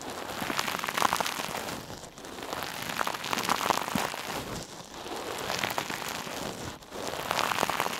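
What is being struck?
Metal mesh scrub sponge.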